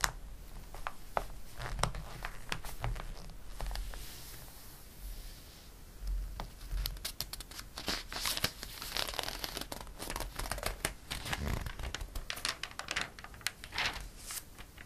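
A palm and fingers rub across a page of a glossy paper catalog, then a page is turned. Soft, steady swishing gives way to a busier stretch of crisp crinkling and sharp, bright ticks as the slick paper flexes and flips. The sound stays quiet and close throughout.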